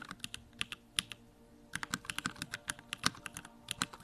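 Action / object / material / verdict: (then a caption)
tap / mechanical keyboard with plastic keycaps / plastic / none. A compact Bakeneko65 mechanical keyboard with Durock Lavender switches and plastic keycaps is typed on continuously with the fingertips. About two dozen short, sharp, bright key clacks come in quick bursts, with a brief pause near the middle. Each click dies away almost instantly.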